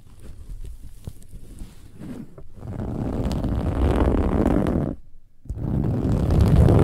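Long nails of both hands scratch a large, soft, filled cushion with a silver-gold, textured, metallic woven fabric cover. The result is a dense, low, rumbling scratch-and-rustle that grows louder after the first few seconds, drops out briefly near the five-second mark, then resumes strongly.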